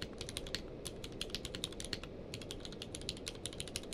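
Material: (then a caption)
Plastic. Fingertips of both hands type rapidly on a full-size mechanical keyboard with a blue-grey case and white and grey plastic keycaps, lying on a blanket. A fast, uneven stream of short, bright plastic clicks sits over a soft, steady low background noise, each keystroke dying away almost at once.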